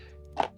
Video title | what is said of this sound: nostal cash 7 | vous entendez peut-être ça bouge dedans